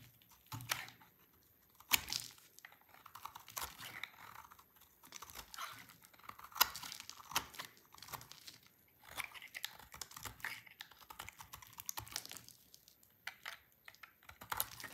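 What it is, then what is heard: Dry soap bar being shaved. A dry, solid white marbled soap bar with orange streaks is shaved with a yellow-handled utility knife. Crisp, bright scraping and crunching bursts come in irregular bunches, with sharp snaps standing out between softer crumbly scrapes.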